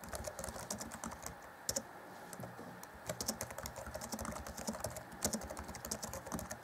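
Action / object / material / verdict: tap / plastic laptop keyboard keys / plastic / none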